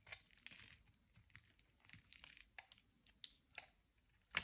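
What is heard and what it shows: A metal utility knife blade scrapes and shaves the surface of a solid, oval, soft and dry white soap bar held in the hand. About nine short, dry, crisp scraping bursts are heard, mostly bright and crinkly with little low end, and the last one is the loudest.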